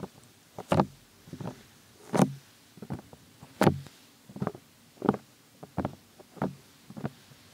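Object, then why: Silicone ear mold of a binaural microphone. Fingertips of both hands rub, tap and cup the hollow silicone ear molds of a white binaural microphone. About ten soft, dull, muffled bursts of rubbing and tapping are heard at an uneven pace, mostly low in tone with little brightness. Each one dies away almost at once into near silence.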